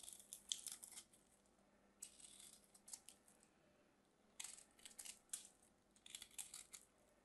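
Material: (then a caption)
Soap. A solid mint-green bar soap, held in hands with short blue nails, has its edge carved and scraped with a small craft knife. Bursts of bright, crisp scraping and crackling come in quiet clusters with short pauses between. The cuts leave a crumbly surface.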